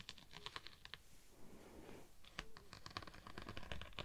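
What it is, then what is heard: Textured vinyl sheet being scratched. A slim decorated rod-like tool, possibly metal, held in long-nailed fingers, is scratched and rubbed across a thin, flexible purple holographic vinyl sheet with a raised scale pattern draped over a microphone. Quick, crisp clicking scratches with bright high edges rattle off in uneven bursts. A softer, breathy rubbing swish fills the middle before the sharp clicks return.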